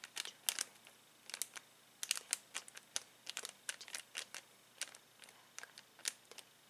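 Fingertips and nails scratch and crinkle a clear plastic bag full of uninflated latex balloons lying on a table. Quick, bright crackles and scratches come in irregular bursts with quiet gaps between, all high-pitched with no low end.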